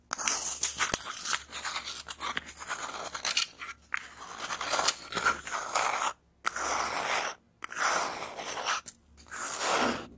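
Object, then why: Cardboard toilet roll tube. An empty, hollow brown cardboard toilet paper tube is held close to a Tascam recorder and handled with long dark-painted nails. Dry, bright crunching and scraping sounds come in uneven bursts separated by brief silences.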